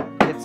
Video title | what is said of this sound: Upgrading to Triple-Pane WIndows: Home Inspection - Ecoline Windows | sounds like wood hits like wood